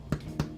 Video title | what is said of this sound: Downtown Houston After Hours S4 E5 | you want to tap it sounds Hollow it's done